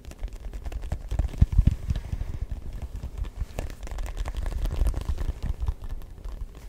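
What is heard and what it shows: Fingertips tap rapidly on a neon yellow-green hollow rubber ball with a grooved surface. The result is a steady stream of soft, dull, low thuds with almost no ring, a few landing louder than the rest.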